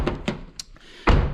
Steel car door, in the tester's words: 이런 둥딱한 소리가 나야 되는데 텅텅 빈 소리가 나는 경우가 있습니다